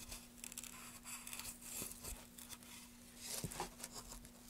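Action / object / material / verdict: scrape / wooden plank / wood / none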